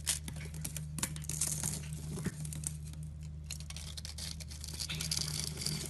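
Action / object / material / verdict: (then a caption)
scrape / solid bar of soap / soap / none. A solid green soap bar held in the hand is carved and scraped with a utility knife blade while small soap cubes crumble off and fingertips rub its surface. Dense, crisp scraping and crackling rasps run throughout with bright high detail, over a steady low hum.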